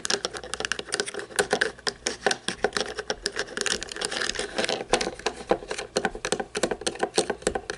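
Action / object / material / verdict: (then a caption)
tap / toy monster truck with plastic chassis and tires / plastic / none. A small toy monster truck with a chrome plastic chassis and plastic tires is turned over and held in the hands while long painted nails tap and scratch the chassis. The result is a rapid, uneven run of light, bright plastic clicks and scratchy patter with almost no low end, each tap dying away instantly.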